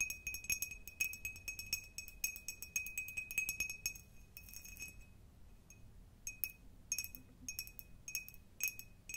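Long nails tap and scratch a clear, hollow, empty cut glass jar with a diamond pattern, held up close. Rapid, irregular bright clinks ring briefly at a clear tone around 2.5 kHz with glassy high overtones, mixed with soft scratchy rasps, and the tapping thins out to a short lull near the middle before picking up again.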